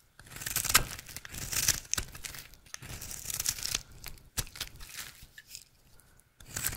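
A rectangular, solid, dry red soap bar is held in the hand and carved into flakes with a utility knife blade. The blade makes crisp, bright scraping and cutting strokes with a crackly, tearing texture, coming in uneven bursts with brief quiet gaps between them.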